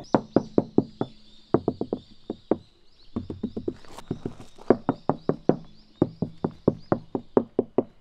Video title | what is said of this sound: フルデッドニングで高級車レベルの静音＆音質劇的改善❗【ジムニーシエラJB74カスタム】 | デッドニングするとだいぶ鈍い音になる